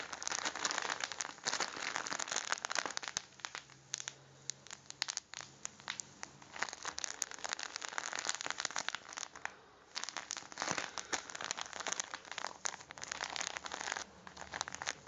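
A red vacuum-style coffee pack of plastic and foil, full of ground coffee, is held in both hands and squeezed and rubbed with the fingertips. The result is a steady, bright crinkling and crackling with many small sharp snaps, which eases briefly near the ten-second mark before picking up again.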